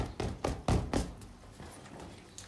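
Fingertips and nails tap, knock and scratch the surface of a large, inflated pink latex balloon, hollow and air-filled, held against window blinds. Six dull, hollow, low-pitched thumps fade quickly, the loudest near the middle of the run. Fainter scratching follows.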